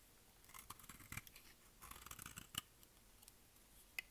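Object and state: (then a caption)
Dry bar soap being shaved. A solid, dry white bar of soap with pink specks is held in the hand and shaved with a utility knife blade. Two bursts of crisp, bright scraping and cutting are heard, each ending in a sharp click. A final isolated click follows a quiet stretch.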